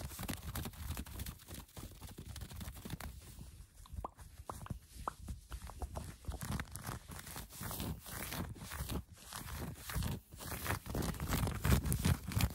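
Fingertips and long painted nails scratch quickly across the front of a cream cotton-fleece sweatshirt with blue embroidered lettering, worn over the torso. The result is a dense, fast, uneven run of soft, muffled rustling and brushing strokes, mostly low in tone, with a few short crisp clicks mixed in.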